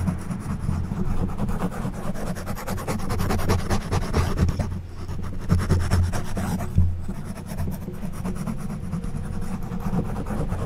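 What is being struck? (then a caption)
Foam microphone windscreen scratched with plastic prongs. The plastic prongs of an orange back scratcher, held in one hand, scratch across the top of a black foam windscreen on a silver condenser microphone. A steady run of rasping scratch strokes blends together with no clear gaps. The sound is a dense, low, muffled rumble with very little bright content.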